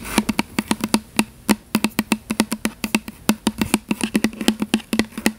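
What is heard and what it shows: Long fingernails rapidly tap a tall plastic "Butterfly" fragrance mist spray bottle with a purple and blue label, held upright in one hand. About 37 short, dry clicks with a slight hollow tone near 215 Hz follow one another in an uneven rhythm, each dying away almost instantly.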